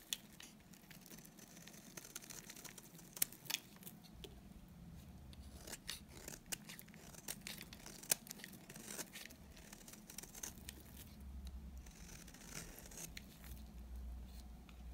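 A solid, dry white bar of soap held in the hand is shaved with a utility knife blade. The soft, steady scraping carries a bright, crisp, crumbly crackle, punctuated by short sharp ticks over a low hum.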